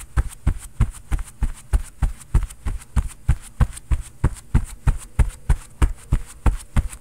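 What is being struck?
Quilted cotton oven mitt.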